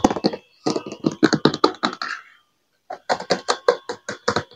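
Fingertips and nails tap and scratch the hollow, thin-walled seat and backrest of an empty, cream-colored molded plastic monobloc chair. Quick, hollow plastic clicks and taps come in rapid bursts, with a brief scraping drag at the end of the first burst. After a short silence, the tapping resumes.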